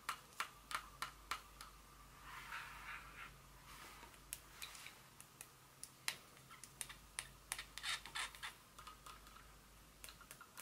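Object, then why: Small glass perfume bottle with metal cap. A small Dior glass perfume bottle with a metallic cap, standing on a table, is tapped with very long fingernails while an empty box lies untouched in the corner. Sharp, bright clicks come in irregular bursts with a brief soft scratchy rustle between them, each tap dying away almost instantly.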